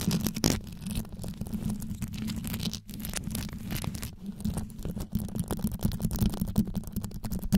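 Long yellow nails wrap around a microphone with rows of rhinestones around its grille and scratch it quickly. A dense, continuous run of rapid, muffled scratching and crackling is heard, heavy in low rumble below about 200 Hz with little high-frequency content.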